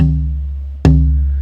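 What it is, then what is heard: Resonant spruce tonewood. A piece of Italian spruce guitar-top tonewood, held at its 0-2/2-0 node point where the wood flexes, is tapped and rings clearly. A decaying low ring is followed by one sharp tap, which brings back a sustained, low tone of about 156 Hz. Held at this node the spruce rings, whereas held anywhere else it sounds dead.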